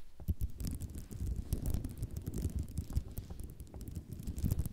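Long nails scratch and tap across a white ceramic mosaic tile sheet resting on dark cloth. A dense, continuous patter of quick, dry clicks and faint rattles sits on a soft low rumble, with bright ticks scattered throughout.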